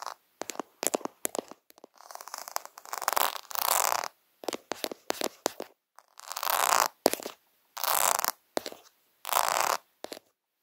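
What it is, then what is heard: Plastic rhinestone sticker sheet. A flat plastic rhinestone sticker sheet, covered in rows of small multicolored faceted rhinestones and lying on a woven fabric, is tapped and scratched quickly by fingertips and nails. Sharp, clicky taps alternate with longer, bright, raspy scratching bursts centered around the midrange.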